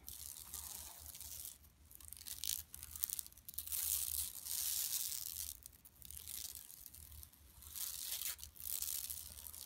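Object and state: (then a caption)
Woven plastic mesh bag scratched. Long nails scratch across a large, flat, yellow woven plastic mesh shopping tote lying empty on carpet. Bright, dry rasping scratches come in several sustained bursts separated by brief quieter gaps, including a short still moment midway when the hands rest near the bag's bottom edge. A faint low hum runs underneath throughout.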